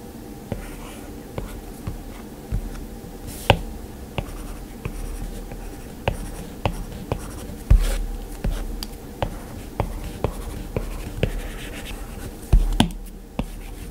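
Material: Glass.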